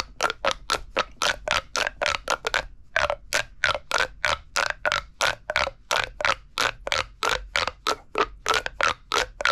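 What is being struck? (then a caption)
Corrugated plastic pop tube toy. A hollow red corrugated plastic pop tube, held upright, is squeezed and stretched by hand so its ribs pop and crackle. About 34 quick, separate crackling bursts come at an uneven, rapid pace, each a dry, bright scrape-like rasp centered near 1.4 kHz with almost no low end. The bursts cut off sharply with no ring.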